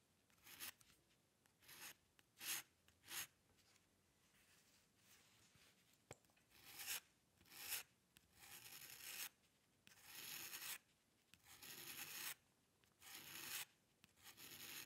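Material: Paper.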